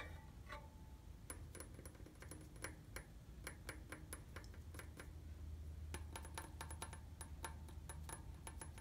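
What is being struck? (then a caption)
Painted steel bicycle frame tube. Fingertips and nails tap on the red painted hollow steel tubes of a bicycle frame near the rear wheel. The result is a steady run of quick, light metallic ticks with a short bright ring, heard over a constant low hum.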